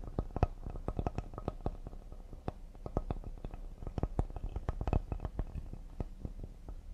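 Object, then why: Cedar wood serving board. Fingers tap quickly and delicately on a cedar wooden serving board. The rapid, irregular run of soft, dull knocks sits mostly in the low end. Each tap dies away almost instantly, with only faint brighter clicks on top.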